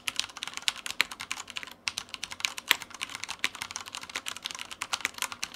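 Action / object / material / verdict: tap / plastic mechanical keyboard / plastic / none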